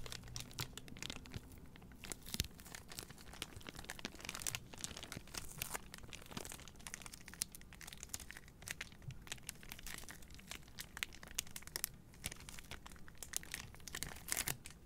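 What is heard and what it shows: A bundle of three white cardboard deodorant boxes in clear plastic wrap is held up in both hands while long nails squeeze, crinkle and scratch the plastic-covered boxes. Dense, quiet crinkling and crackling runs throughout, with bright, sharp clicks and scratches over a soft low rustle.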